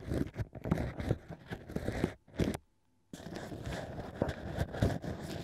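A bamboo ear pick, held with painted nails, scrapes and pokes inside the hole of a hollow cork ring ear set in a plush microphone ear. The result is a dense run of low, muffled crunching and scraping rubs. The sound drops to near silence for about a second midway, then the scraping resumes.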